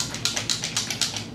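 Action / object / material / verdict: shake / glass bottle of liquid foundation / glass / none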